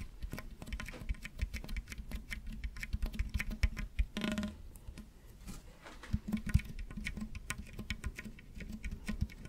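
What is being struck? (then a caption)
Ribbed plastic tube. Fingertips and nails scratch and squeeze the ridges of a long, hollow, ribbed pink plastic toy tube held in both hands right in front of the microphone, bending it as they go. The result is a dense, quiet patter of short, dry clicks and ticks, weighted toward a low, soft thump. A brief, brighter rubbing swish breaks in around the middle.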